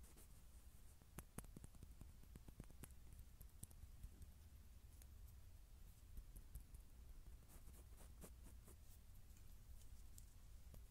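A small, solid, gold-coloured metal SpongeBob enamel pin badge is held between the fingers close to the mic while fingertips and short nails tap and scratch its surface. Quiet, scattered clicks and scrapes sit over a steady low hum, and each tap dies away almost at once.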